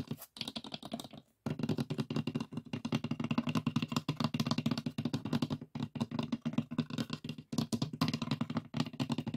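Fingertips and nails of both hands tap and scratch the lid of a closed, hollow, light pine wooden box with a metal latch. The result is a rapid, dense patter of short, dry taps with a hollow, woody low resonance, mixed with faint scratching. There is a brief pause early on before the tapping resumes steadily.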